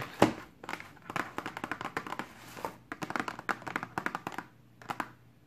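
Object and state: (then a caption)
Cardboard box tapped with fingernails. Long pink acrylic nails tap and scratch the top of a flat, hollow, pink-and-white printed cardboard box from a BH Cosmetics Carnival makeup brush set lying on a table. The result is a quick series of short, dry taps mixed with soft scratchy rustles, with one sharper tap at the start and bursts separated by brief pauses.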